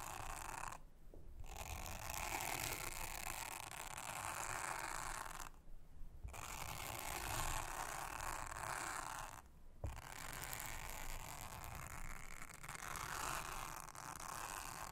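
A soft toothbrush brushes across a thin, solid, round blue silicone honeycomb trivet mat, making a steady, dense scratchy rustle with a bright, airy hiss. The brushing stops briefly three times before continuing at an even level.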